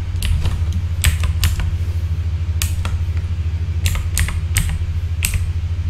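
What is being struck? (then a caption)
Plastic mechanical keyboard keys. Slow fingertip tapping on the plastic keycaps of a full-size backlit mechanical keyboard gives sharp, bright clicks with a short ring. They come irregularly over a steady low hum.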